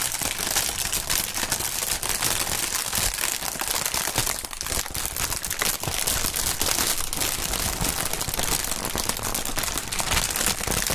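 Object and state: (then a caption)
Plastic air-cushion packaging film. Gloved hands squeeze, crumple and rub a large, light, clear Sealed Air inflatable air-pillow packaging sheet with green print, its hollow cushions filled with air, above a cutting mat. The result is a steady, dense stream of bright crinkling and crackling with no pauses.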